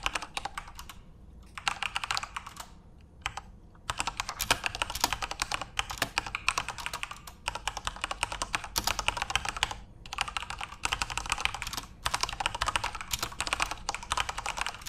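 A full-size Corsair RGB-backlit mechanical keyboard with plastic keycaps is typed on rapidly with the fingertips of both hands. Dense, bright plastic clicks and clacks run in fast bursts, with brief pauses between runs.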